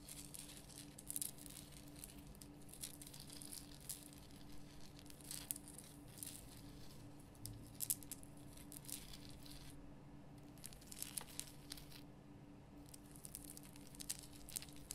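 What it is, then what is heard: Himalayan salt lamp. Long painted nails scratch across the rough surface of a large, solid, lit pink Himalayan rock-salt lamp. The result is a quiet, continuous patter of dry, bright scratching and crackling with short sharper bursts, over a steady low hum.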